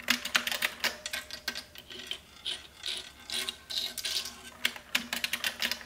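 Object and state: Plastic mechanical keyboard typing.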